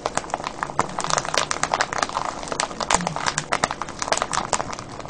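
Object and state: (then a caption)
Cellophane bag of foil-wrapped candies. Fingers squeeze and crinkle a clear cellophane bag full of foil-wrapped candies, producing a dense, continuous run of sharp crackles and crisp snaps. The sound is bright and papery, concentrated in the mids to highs with very little low end. Each crackle dies away almost instantly.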